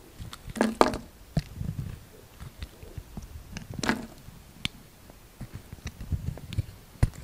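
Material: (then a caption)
Soap. A utility knife blade scrapes across a solid rectangular green coconut soap bar, shaving off curled strips. Soft, low scraping and gritty crackles are broken by sharp clicks, with brief bright, crisp bursts near the start and again around the four-second mark.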